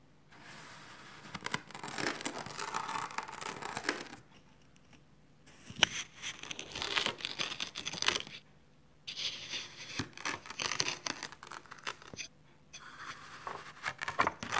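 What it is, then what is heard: Kinetic sand block being sliced. A red plastic knife slices repeatedly through a loaf-sized solid block of tan kinetic sand on a white tray, cutting it into thin slabs. Each pass gives a dry, bright, crunchy crackling and scraping, heard as four separate stretches of slicing with short quiet gaps between them.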